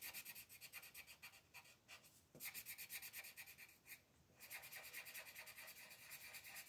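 A colored pencil rubs a thin paper mandala page resting on a table in small, quick strokes along the top edge while the other hand holds the sheet. The result is a steady, bright, scratchy rasp centered around 2.4 kHz, with brief pauses near the 2- and 4-second marks.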